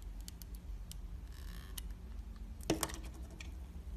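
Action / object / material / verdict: scrape / glycerin soap bar cut with a blade / glycerin soap / none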